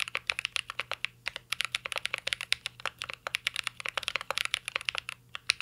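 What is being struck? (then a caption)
Mechanical keyboard with plastic keycaps and aluminium case. Fingertips type continuously on a mint-green Cyberboard R3 mechanical keyboard with plastic keycaps and an aluminum case. About forty quick, bright keystrokes follow one another at an uneven rhythm. Each is a dry, sharp tap with almost no ring and no low end.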